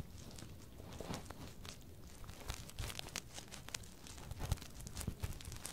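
Fingertips and nails rub and scratch along the silicone ears of a binaural microphone. The result is a steady stream of soft, crinkly friction noise over a low rumbling body, with brief bright scratchy bursts flaring up throughout.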